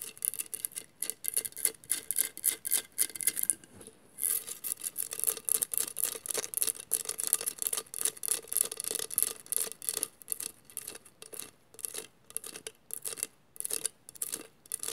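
Long matte fingernails on both hands scratch across a hollow glass mosaic vase covered in textured mirrored glass tiles. Rapid, uneven, dry scratching strokes sound mostly high and bright with little low end, pausing briefly near the four-second mark before continuing at a steady busy pace.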